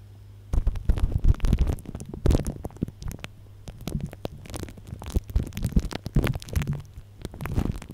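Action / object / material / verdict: scrape / plastic cling film over a microphone / plastic film / none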